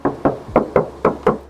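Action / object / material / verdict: knock / steel car hood panel / steel / original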